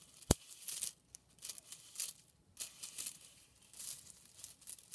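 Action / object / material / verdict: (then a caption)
scrape / bundle of thin plastic drinking straws / plastic / none. A hand with long painted nails squeezes, fans and rubs a bundle of thin hollow plastic drinking straws, scratching and crunching them. Soft, bright crinkling and crunching bursts come in irregular waves, opening with one sharp snap. Brief quiet gaps fall between the bursts.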